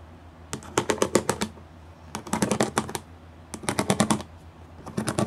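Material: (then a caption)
Plastic. Long glitter nails and fingertips tap quickly across a flat gray plastic sheet covered in rows of small raised pyramid studs. Rapid bursts of short, crisp clicking taps come in three clusters separated by brief pauses, each tap dry and quick to fade.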